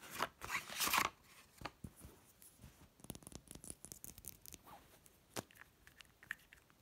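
A small orange-labelled glass serum bottle with a black pump top, hollow and lying on a bedsheet, is held, then tapped and scratched with long red-painted nails. The first second brings loud, bright scratchy rustling, followed by many quick, dry, short taps and light scrapes with little low end.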